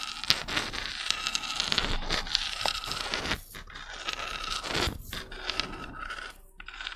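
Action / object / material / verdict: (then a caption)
scrape / small spiky spiral seashell / shell / none. Long red nails scratch and scrape a small, hollow white spiral seashell with spikes and brown spots, held in the fingers. A steady run of bright, dry scraping and rasping fills the clip, with quick ticks and clicks as the nails catch on the spikes. The sound stays mostly high and crackly, with little low end.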